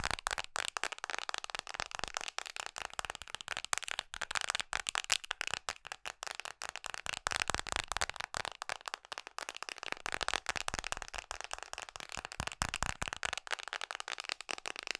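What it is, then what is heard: Plastic phone case tapped with nails. Long nails tap quickly on the back of a red Mickey-print hard plastic case fitted on an iPhone SE, held horizontally in both hands. The result is a steady stream of rapid, bright plastic clicks and rattles with almost no low end and no ringing between taps.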